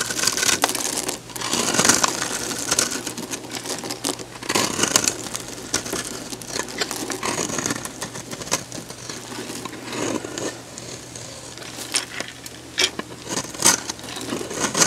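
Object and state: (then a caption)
Bar soap being shaved. A solid, hand-sized pink oval bar of soap is held in the hand and scored and shaved with a metal box-cutter blade. The blade makes a steady run of bright, dry scraping and crisp crackling cuts, with strips and crumbs falling off the bar.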